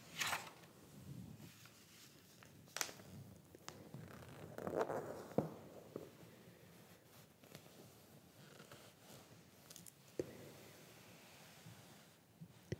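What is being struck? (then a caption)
Glossy paper magazine. Bare fingertips of a hand wearing a ring rub and smooth across the pages of a large open glossy paper fashion magazine (Madame) lying flat, and the pages are turned and flipped. Soft, quiet rustling and whispery sliding are broken by sharp, bright crinkly snaps as each page is flipped over.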